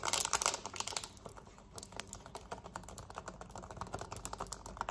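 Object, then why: Plastic TV remote. Long nails tap and scratch quickly on a black plastic TV remote, first lying flat and then held up, across its buttons and back. It makes a dense run of sharp, bright plastic clicks with a light scratchy texture, starting loudest and settling into a steady, uneven patter of quick taps.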